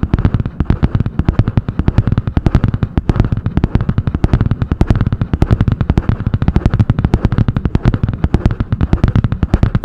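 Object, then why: Spiral-bound notebook with hard cardboard cover. Long painted nails tap and scratch quickly on the butterfly-print hard cardboard cover of a medium spiral-bound notebook. A dense, steady stream of short, dry taps keeps up for the whole clip, each one dying out almost at once. The sound is weighted toward a low, thumpy body with a little scratchy texture above it.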